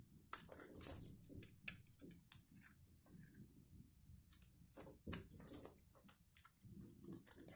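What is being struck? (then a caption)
Soap bar. A solid, dried black-and-white striped soap bar is held in one hand while a metal box-cutter blade shaves along its top edge. Quiet, crisp scraping crunches come in short bursts, with sharp bright clicks over a soft low-end texture. Thin shavings come off the bar with each stroke.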